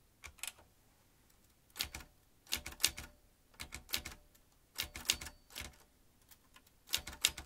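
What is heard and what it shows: An old manual typewriter, a vintage metal machine with metal typebars and round keys, is typed with the fingertips so the keys strike the mechanism. Irregular bursts of sharp, bright clacks come in quick clusters separated by brief pauses, each strike dying away almost instantly with little low-end weight.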